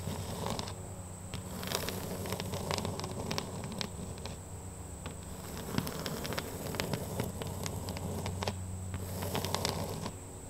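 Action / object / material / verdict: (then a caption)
scrape / oriented strand board wall panel / wood chipboard / none. Long pink fingernails scratch across a large, flat, solid oriented strand board barn wall panel with rough wood chips, making rapid dry scraping and crackling strokes that swell and fade in bursts. A steady low droning hum and a faint high whine run underneath throughout.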